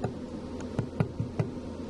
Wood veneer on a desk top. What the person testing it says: tap on the veneer you can hear the noise if it's loose